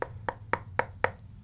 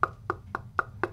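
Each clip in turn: First: Five quick knocks with a dull midrange thud and no ring or boom: a stiff, well-damped aluminum speaker cabinet. Second: Five even knuckle knocks with a bright, tonal clack around 1.4 kHz; the aluminium speaker cabinet sounds resonant.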